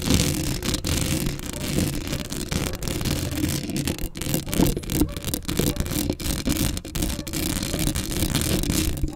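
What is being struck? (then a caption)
Metal wire-mesh microphone grille. Very long acrylic nails on both hands scratch quickly across the round, hollow metal wire-mesh grille of a large black Blue Yeti-style USB microphone held up close. The result is a dense, continuous scratching and rustling with a heavy low rumble and a faint bright hiss, staying at a steady loudness throughout.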